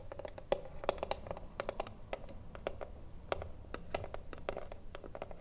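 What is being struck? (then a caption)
Small wooden cigar box. Long nails scratch the front panel of a hollow wooden cigarillo box standing upright. The result is a quick, uneven series of short, dry scratches and clicks with a hollow, woody midrange tone. Each stroke dies away almost at once over a low, soft background rumble.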